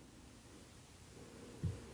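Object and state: Nothing is struck.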